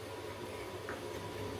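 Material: Nothing is struck.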